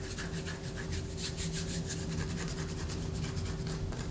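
A solid white bar of soap, held upright in a hand above a paper poster, is scratched with long fingernails. Quick, rhythmic raspy strokes give bright scraping bursts over a steady low hum, continuing without pause for the whole clip.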